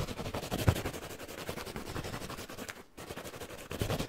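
A hand-sized rectangular yellow foam kitchen sponge with a green abrasive scouring layer, soft, porous and dry-looking, is held in both hands close to the face and scratched and rubbed fast and aggressively with fingertips and nails. The result is a dense stream of rapid, rough, crackling scratches weighted toward the low end, with a brief pause near the three-second mark before the scratching resumes.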